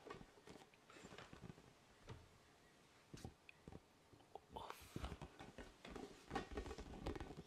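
A large, hollow, inflated orange vinyl ball with spikes is held up and tapped with fingers close to the microphone. Soft, irregular, hollow-sounding taps and low thuds come in quick clusters. Each tap dies away almost at once, growing a little busier toward the end.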